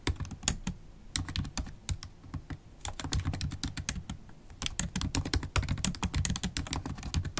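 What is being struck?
Laptop keyboard, plastic keys tapped with long nails.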